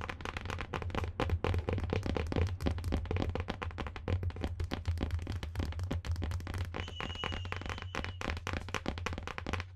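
Long nails rapidly tap and scratch the rigid cardboard board cover of a marbled hardcover book held upright close to the microphone. A dense, irregular stream of sharp clicks and scratchy rustles rides over a steady low hum, with a faint thin tone appearing near the end.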